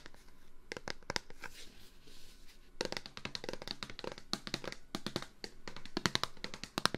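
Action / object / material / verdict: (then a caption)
tap / plastic wipes container / plastic / none. A plastic Clorox disinfectant-wipes container is tapped by hand in a quick, irregular rhythm of short, dry clicks with a bright, hollow plastic tone. The taps come sparse and soft at first, then turn into denser, sharper bursts from about 3 seconds on, with the loudest taps near the end.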